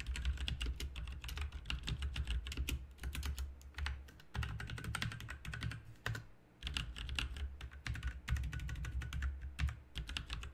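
Both hands type rapidly with their fingertips on a full-size, backlit plastic mechanical RGB keyboard with plastic keycaps. A dense run of bright clicky keystrokes rides over a steady deep low hum, with brief lulls around 4 and 6 seconds before the typing picks up again.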